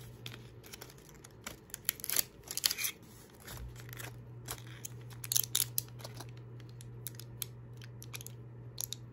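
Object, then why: Small cardboard gum box. A small flat cardboard Spry gum box is held in the hand and worked with fingertips and nails, gripping, tapping and scratching it. Many quick, dry, bright clicks and scratchy rasps come in irregular bursts over a faint low hum that steadies midway through.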